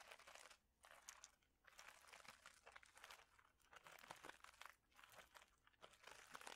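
A clear plastic bag of small mosaic tiles is crinkled and squeezed with fingertips. Steady bright crinkling and crunching comes in bursts with short quiet gaps, mostly in the upper range with almost no low end, and the tiles click and shift inside the bag.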